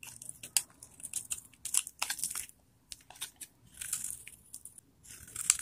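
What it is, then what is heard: Dry bar soap. A metal knife blade shaves and carves flakes off a palm-sized solid bar of old, dried vintage soap held in one hand. A quick series of crisp, bright scraping and cutting bursts follows, with almost no low end and brief near-silent pauses between strokes. The flakes come away with dry, crunchy crackles.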